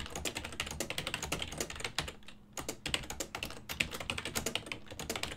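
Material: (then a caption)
Plastic. Fingertips type on a full-size black and silver plastic ergonomic desktop keyboard with hollow key switches. A rapid, steady stream of short, bright, dry clicks and taps, centered around 2.5 kHz with little low end, pauses briefly just after two seconds before resuming at the same pace.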